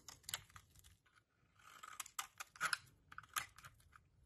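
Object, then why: Solid soap bar scored with a metal blade. A metal utility-knife blade scores and chips a small solid purple soap bar, held over a pile of soap shavings, into shards. About a dozen sharp, dry crunches and snaps come at an irregular pace, with a soft scraping stretch in between. The sound is bright and crisp, with almost no low end and very short decay.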